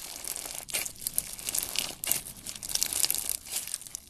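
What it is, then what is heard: Fishbowl-bead slime. Fingers pull and press yellow fishbowl-bead slime, making a dense, continuous crackling and crinkling. The sound is bright and high, with almost no low end, and comes in short surging bursts of popping beads.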